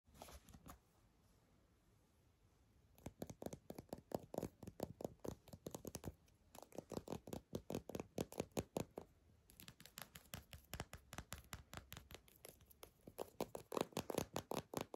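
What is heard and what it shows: Long nails scratch and tap a small, hollow mint-green plastic lip balm squeeze tube with a dark cap, held in one hand. Quiet, dry, rapid clicking and scratching comes in uneven bursts, with a near-silent pause after the first second before steady runs continue to the end.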